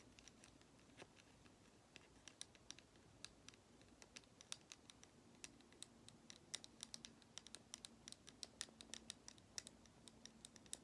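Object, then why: Lacquered wooden nesting doll. A small, hollow, painted and lacquered wooden matryoshka nesting doll is held in one hand and tapped and scratched with long acrylic nails. Many quick, light, bright clicks come in an irregular patter, each dying out almost at once, over a soft scratchy hiss and a faint low hum. The sound stays quiet throughout.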